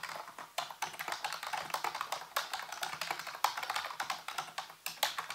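A full-size black plastic keyboard on a white base, with hollow keys, is typed on rapidly with the fingertips. It gives a steady stream of quick, clicky plastic taps that are sharp and bright, centred near 1 kHz with no low end. Each tap dies away almost at once.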